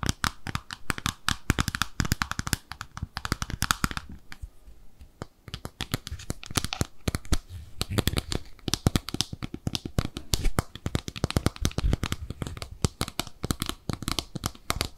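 Long nails scratch and tap across the top and underside of an empty, small, white, glossy oval ceramic soap dish with drain holes and peg feet. A dense run of quick, dry clicks and bright scratchy crackling fills the clip, easing briefly into softer scraping around the four-to-five-second mark before the rapid tapping picks up again.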